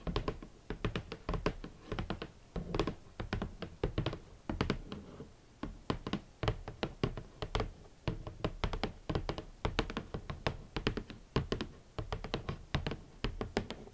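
Fingertips tap gently on a shoe box for hot pink leather boots, producing a steady run of soft, short, muffled taps and thunks. The taps are dull and low-heavy, with brief bright clicks and almost no ring, arriving in quick irregular clusters throughout.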